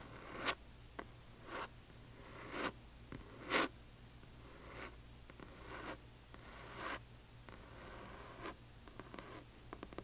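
Long fingernails of one hand scratch the glossy paper dust jacket of a large hardcover book lying flat. About nine short, bright, papery scratching strokes come at uneven intervals over a faint steady low hum. Each stroke is dry and stops quickly, with no ring.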